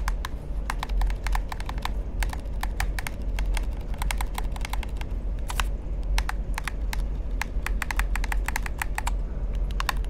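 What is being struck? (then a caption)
Plastic game controller. A hollow black plastic gamepad is held in the hand while fingertips tap and fingernails click rapidly on its buttons and shell. The result is a fast, irregular stream of short, dry, bright clicks with no ring, over a steady low rumble.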